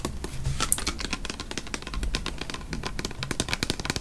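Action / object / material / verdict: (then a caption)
tap / plastic spray bottle / plastic / none. Fingernails rapidly tap and scratch a tall plastic-looking "Naturals" body spray bottle with a white sprayer, full of amber liquid, and across its label. The result is a dense run of sharp, bright clicks and scratchy rustles over a steady low rumble.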